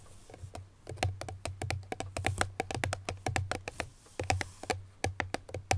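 Medium-long natural nails on both hands tap and lightly scratch the top face of a small cream Chloé cardboard perfume box resting on a grey surface. A quick, irregular stream of short, dry clicks with bright edges dies away almost at once. Beneath them runs a steady low hum.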